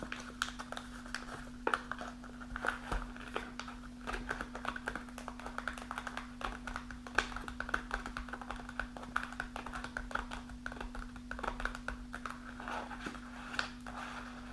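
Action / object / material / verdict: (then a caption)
tap / kraft paper snack pouch / kraft paper / none. Long nails tap and scratch a partly full kraft paper snack pouch lying on a table. Quick, dry, papery clicks and rustling scrapes come in a steady, busy stream, with a bright crinkle centred around 1.5 kHz. A constant low hum runs underneath throughout.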